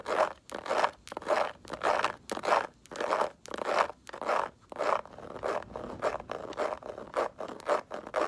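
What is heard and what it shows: Nails scratch and rub across the textured surface of a small, hollow, multicolored snakeskin-print faux leather mini bag with a gold clasp, held in both hands. The result is a dry, papery scraping centered in the midrange with almost no low end: slow, drawn-out strokes for the first few seconds, then quicker, shorter scratches in a steady rhythm.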